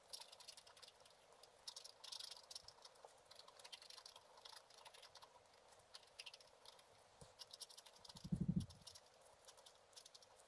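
A wooden stylus scratches fine, repeated strokes into a black-coated scratch art card lying flat. The result is a quiet, dry patter of bright, scratchy ticks over a soft hiss, with a brief louder, low thump near the end.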